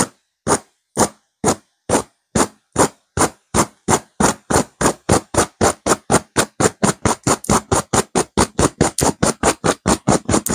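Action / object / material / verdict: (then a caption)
scrape / velvet-covered stuffed cushion / velvet / none. Long nails of both hands scratch fast over a stuffed cushion with a blue burnout velvet cover and a cream petal pattern. About 37 dry, broadband scratching strokes, each a bright hiss that cuts off quickly, start spaced apart and then speed up into a steady, rapid rhythm.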